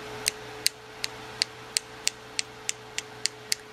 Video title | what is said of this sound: Pink Tip Acrylic Nail Design with Rhinestones | tap on it you'll hear that it's hard if you can't hear that sound then it needs to dry a little bit longer